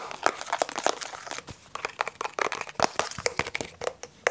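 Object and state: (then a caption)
Plastic water bottle. A hand-sized blue translucent plastic water bottle with a blue screw cap is held close and tapped and scratched on its sides and cap with fingertips and short nails. Dense, irregular crinkly taps and scrapes follow one another quickly, each sharp and short with almost no low end.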